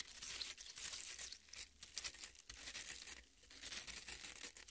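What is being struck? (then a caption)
Half watermelon with soft red flesh. Long red nails scratch and dig into a half watermelon with broken-up red flesh. The result is a bright, wet tearing and crinkling texture that swells and dips in loudness, with little low end.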